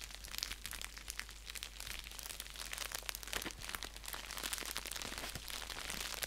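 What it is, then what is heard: Padded bubble mailer envelope. An orange padded bubble mailer envelope, flat and hollow and lying on a blanket, is scratched and pressed with fingertips and nails. Bright, dense crinkling and crackling continues throughout with many quick, sharp ticks, and a low steady hum sits underneath.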